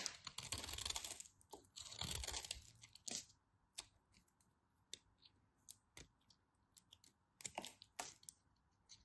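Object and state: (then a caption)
Bar soap being cut. A carved piece of white bar soap, held between long white nails, is cut with a knife blade. Two long, dense stretches of bright crisp scraping and crumbling come first, followed by a scatter of short, sharp clicks and snaps that pick up again into another brief burst near the end.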